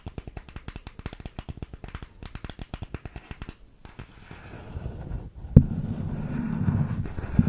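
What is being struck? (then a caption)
Small printed cardboard makeup box. A small, hollow printed cardboard makeup box is held close to the microphone and tapped with long nails, giving a rapid run of dry, hollow taps. After that the sound turns into a continuous low scratching and rubbing that grows louder, broken by one sharp knock and ending with another hit.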